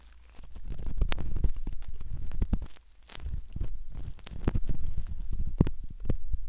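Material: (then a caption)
Silicone. A metal ear pick scratches inside the canal opening of a soft silicone ear model. Close, muffled scraping and rubbing sit mostly in the low range, broken by sharp, brief clicks and crackles that ring out to high frequencies. The sound dips quiet for a moment near the middle before the scratching resumes.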